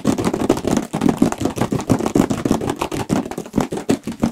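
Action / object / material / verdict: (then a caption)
tap / large cardboard box / cardboard / none. Fingertips and nails rapidly tap and scratch a large, hollow Radeon cardboard graphics card box, held first edge-on and then face-on. The result is a dense, steady stream of quick, hollow, papery knocks with a warm low-mid body, mixed with dry scratching. Each tap dies away almost at once.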